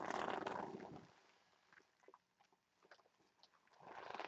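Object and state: Vinyl heart pillow.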